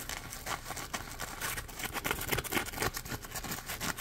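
A yellow smiley-face Scrub Daddy sponge, a hand-sized polymer foam piece, is held in both hands and scratched and squeezed with the fingers. This makes a steady, dry, bright scratching and crinkling texture with short, irregular squeaky bursts rising over it about every quarter second.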